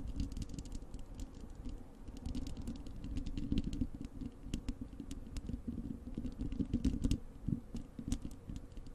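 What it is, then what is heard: Metal mesh microphone grille. Long acrylic nails of both hands scratch and tap the bare, hollow wire-mesh metal grille of a large desktop microphone. The result is a dense, continuous stream of quick dry clicks and scratches over a heavy low rumble, with occasional brighter taps that stop instantly with no ring.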